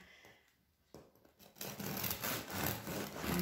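A long bread knife saws back and forth through a medium-sized baked semolina loaf (filone) with a hard, crisp crust and soft crumb, resting on a wooden cutting board and held by a hand with red-painted nails. Quiet scraping gives way to a sharp crack of the crust. Then comes a louder, steady rasping crunch as the blade works through, and it may touch the board.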